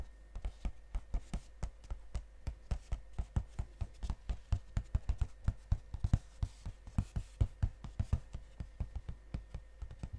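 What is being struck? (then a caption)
Cardboard chocolate box. Fingernails tap fast on the glossy front of a gold cardboard chocolate box held close to the microphones. The result is a rapid, steady run of short, dry clicks with a soft low thump, each dying away almost instantly. Quiet, faint hiss sits underneath.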